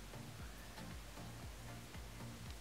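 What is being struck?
Nothing is struck.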